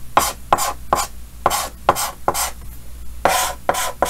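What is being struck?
Chalk on a painted chalkboard.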